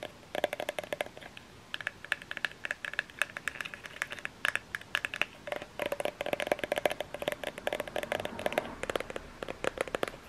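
Fingernails tap and scratch the bottom end and body of a small plastic lotion bottle. Rapid, dense bright clicks and light scratching sounds run throughout, with a faint hollow tone near 590 Hz. Each tap dies away almost instantly.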